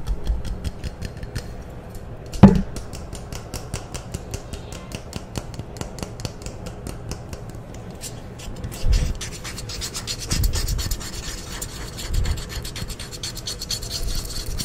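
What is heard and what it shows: A hand-sized, hollow OFF! insect repellent aerosol can, with a metal body and an orange plastic cap, is held close to the mic and scratched and rubbed with fingernails and fingertips. A steady stream of fast, crisp scratching clicks carries a low, hollow body, with one sharp louder knock early on and several swelling rubbing passes later in the clip.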